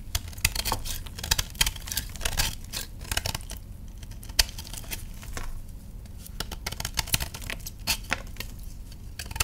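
A hand-sized solid block of reformed purple gym chalk, held in one hand over a tray of crushed chalk, is shaved and scraped with a patterned metal knife blade. It gives a run of sharp, dry, bright scratchy crunches and crackles over a low steady hum, as crumbly powder falls off the block.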